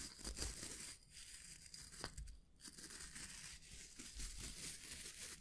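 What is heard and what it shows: A small oval hair brush with a solid wooden back and dense natural bristles is held in the hands while fingertips and nails scratch and rub across the bristles. The result is a steady, bright crackling and rasping texture with a few sharper snaps, over a soft low rumble.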